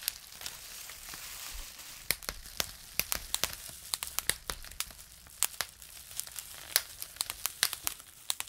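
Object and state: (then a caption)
Plastic bubble wrap being popped. Two twisted bunches of clear plastic bubble wrap, one held in each hand, are wrung and pinched by the fingertips, popping the air bubbles. A soft, hissy crinkling opens the clip, then sharp, bright snaps burst out irregularly, singly and in quick clusters, over a steady crackle. Each pop is dry and dies away almost instantly.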